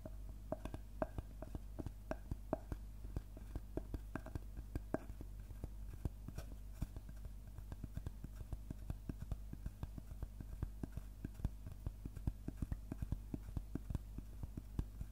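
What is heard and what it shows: Fingertips tap rapidly and irregularly on the cut face of a large, round, solid-wood slice of tree trunk. The taps are short and dry, some with a brief mid-pitched knock, over a steady low hum.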